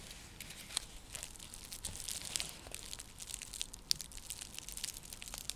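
Long fingernails scratch and tap a round, flat, coiled woven seagrass coaster (a straw trivet). The result is a steady, dry, crinkly scratching that is mostly bright and high, with little low end. Sharp, clicky taps stand out now and then.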